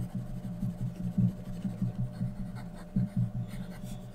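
A graphite pencil held in the fingers scratches across a thin sheet of white drawing paper lying on a flat surface, shading a portrait. The soft, low, rhythmic scraping strokes rise and fall, with a few louder strokes standing out over a faint steady hum.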